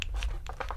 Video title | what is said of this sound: FISHING from My Backyard PRIVATE ISLAND!!!! (Part 3) | it is hollow. Listen, it's hollow, but then the tip is hard